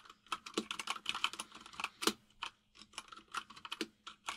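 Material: Plastic.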